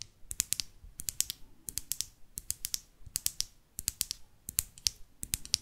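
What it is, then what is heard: Plastic lip gloss tube tapped with nails. A small, closed pink plastic lip gloss tube with a metallic cap is held in the hands and tapped and scratched along its length with long artificial nails. Quick, sharp, bright clicks come in uneven bursts of rapid taps, each dying away almost instantly, over a faint scratchy hiss.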